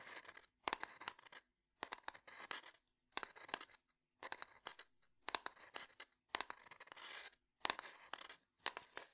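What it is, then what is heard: Wooden domino box tapped and scratched. Fingernails tap and scratch the top and side of a small, closed, light wooden domino box held in the hand. Short bursts of quick, dry clicks and scratchy rasps, bright and without ring, are separated by brief silences.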